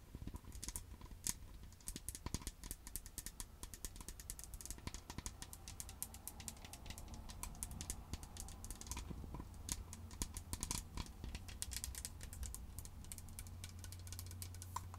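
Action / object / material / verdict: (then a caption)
tap / plastic bottle / plastic / none. Long acrylic nails tap quickly on the base and sides of a green plastic skincare bottle filled with liquid. The result is a dense run of short, sharp, clicky taps that die away almost at once, over a steady low hum.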